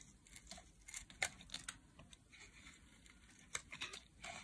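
A solid blue-teal block of dry bar soap is carved with a metal blade, peeling off flakes. Quiet, bright, crisp scraping and crackling cuts come in a series of short bursts, with a few sharper snaps standing out and very little low-end.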